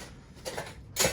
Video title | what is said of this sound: Dry Canning Rice 🍚 | it's not shaking it's not rattling the whole time that's awesome nice solid full